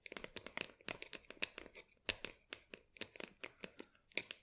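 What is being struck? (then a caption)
Small plastic plant pot. Long acrylic nails tap and scratch the sides of a small, hollow, matte black plastic pot holding an artificial plant, held in both hands. About 21 quick, bright clicks and scrapes follow one another at a quiet level, each dying away almost at once with little low end.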